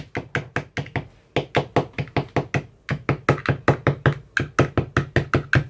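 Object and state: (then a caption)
Plastic ice cube tray, empty. A hand knocks a white-tipped metal rod into the cells of an empty clear plastic ice cube tray with teal silicone cell bottoms. About 29 quick, dull knocks follow in an uneven rhythm, with short pauses near one and three seconds. Each knock has a low, hollow body and a brief bright click that fades almost at once.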